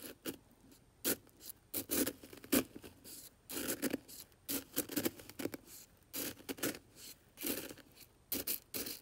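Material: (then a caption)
Salt crystals. A black brush handle is stirred and scraped through coarse white aquarium salt crystals in an open plastic container full of them. Short, gritty crunching and scraping bursts repeat in quick, uneven succession, with crisp high-frequency hiss, almost no low end, and little ring after each stroke.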